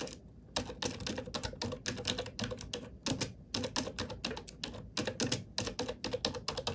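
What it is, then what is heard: Plastic computer keyboard being typed on. A glossy black plastic computer keyboard is typed on with fingertips and nails. Rapid, bright, clacky key taps come in quick bursts separated by brief pauses, each tap dying away almost instantly.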